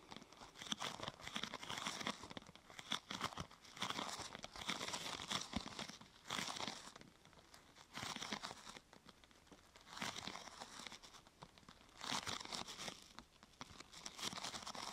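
A large, thin purple plastic protector sheet curved into a hollow arch over the mic is scratched and tapped on its top and sides with long nails. Bursts of dense, bright crinkling and scratching come in rough waves, separated by quieter gaps, with little low end.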